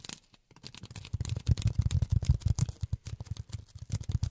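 Polyethylene foam is tapped with silicone rubber finger pads, giving rapid, irregular, soft, dull thuds with almost no ring. The taps are low and muffled, with only a faint crinkly brightness on top.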